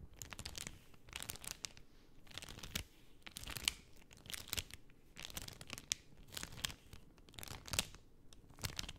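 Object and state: Cellophane sheet crinkled.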